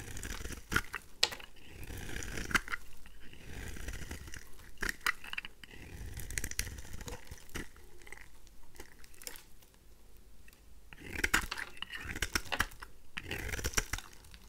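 A pink oval bar of dry rose soap, held in the hand, is shaved with a craft knife blade, and flakes break off. Quiet, crisp scraping and crunching repeat throughout, with bright crackles and sharp clicks over a soft low rumble. Louder bursts come near the start, middle and end.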